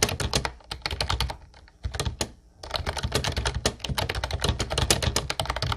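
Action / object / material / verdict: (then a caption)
tap / plastic keyboard with round keycaps / plastic / none. Fingertips of both hands type fast on a light blue plastic Ubotie retro keyboard with round white keycaps and a hollow body. The rapid keystrokes are short, sharp clacks with a bright top and a hollow, low plastic thock underneath. The typing breaks into brief pauses partway through before the quick, steady clatter resumes.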